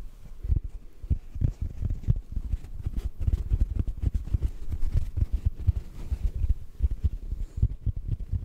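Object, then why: Synthetic foam sponge. A large, soft, solid yellow porous synthetic foam sponge block, held horizontally and then upright close to the mic, is gently tapped with the fingertips. The result is a steady run of many soft, muffled, very short thuds, almost entirely deep and low with nothing bright and no ring after each tap.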